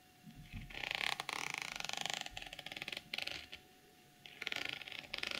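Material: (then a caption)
Plastic sequins. Long glossy nails scratch and tap along the pink reversible plastic sequins and zipper edge of a small, hollow, soft-sided zippered cosmetic pouch. Dense bright, crackly scratching comes in rapid ticking bursts. It briefly goes quiet near the end before the rustling resumes.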